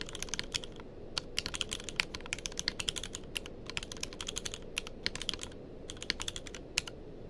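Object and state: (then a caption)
Mechanical keyboard with plastic keycaps. A tenkeyless mechanical keyboard with plastic keycaps is typed on continuously with the fingertips of both hands. The result is a rapid stream of short, bright clicks and clacks with almost no ring, over a low, steady background hum.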